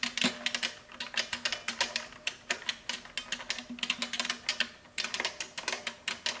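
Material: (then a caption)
Plastic. Fingertips with long painted nails type rapidly on a large, hollow-cased vintage beige plastic mechanical keyboard in the Model F style, with a row of small shells sitting untouched on its front ledge. About 34 bright, clacky keystrokes sound in quick, uneven bursts, each dying away almost instantly, over a faint steady low hum.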